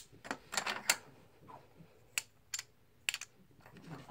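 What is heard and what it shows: Fingertips stack solid plastic/composite blue poker chips one by one in the palm, giving a series of short, bright, dry clicks with almost no ring. The clicks come in scattered bursts with quiet pauses between them.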